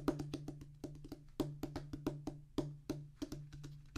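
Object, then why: Rubber and cork drum practice pad. A flat oval drum practice pad, with a solid black rubber top on a tan cork-like base, is drummed with the fingertips of both hands. About 22 short, dull, woody taps with a low tone near 285 Hz and almost no ring come in an uneven, quick rhythm. A steady low hum sits underneath.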